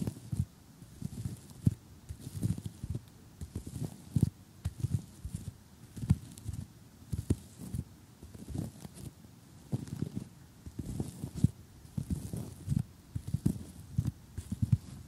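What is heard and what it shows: Short, glittery painted nails on the fingertips of one hand tap across a large assembled cardboard jigsaw puzzle of solid, thin pieces lying flat on a table. The taps are soft, dull and low, with almost no ring, landing in an irregular, unhurried rhythm, often in small quick clusters separated by brief pauses.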